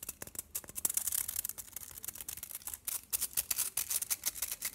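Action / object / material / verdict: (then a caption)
tap / chocolate bar wrapped in aluminium foil / aluminium foil / none. Fingernails tap and scratch across the aluminium foil surface of a solid chocolate bar held in the hand. A rapid string of crisp, bright clicks and crinkly scratches runs throughout with almost no low end, each tap dying away instantly. The tapping grows louder and more pronounced in the second half.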